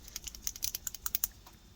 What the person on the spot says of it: Hear that little ball in there, and that shakes it.